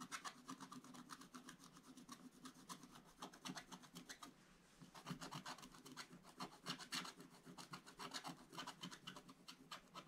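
A wooden stylus scratches the black coating off a scratch-art paper page in an open book, making quick, dry rasping strokes with a bright, papery hiss. The strokes come in a fast, uneven rhythm, with a brief pause around the middle before the scratching resumes.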